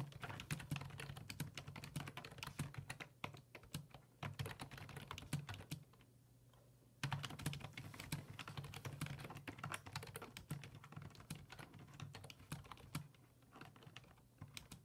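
A black full-size plastic computer keyboard with hollow plastic keys sits on a wooden desk, and fingertips type on it in quick, repeated taps. The short bright clicks come in dense bursts over a steady low hum. Brief pauses fall near the 6 and 14 second marks before the typing resumes.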